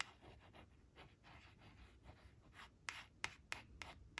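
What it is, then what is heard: Laminated cardboard card scratched with fingernails. Long acrylic nail tips trace and scratch the outlines on a thin, flat laminated cardboard flash card printed with leaves, resting on a fabric surface. Soft, quiet, dry scratching strokes run through the first half, then five sharper, brighter taps and scratches stand out near the end.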